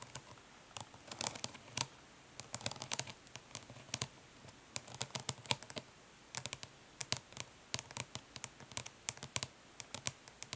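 Long nails tap and scratch in short strokes on the printed lid of a closed, flat, hollow plastic eyeshadow palette. Quick, bright, dry clicks and brief scratchy strokes come in irregular bursts with short pauses. Each sound stops almost instantly, with little low-end body.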